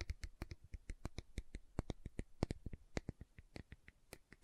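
Long nails tap and scratch the side and lid of a large round green plastic aloe vera gel jar. Heard is an irregular run of about 27 quick, dry taps, each with a low thump and a bright tick that stops at once, between faint scratching.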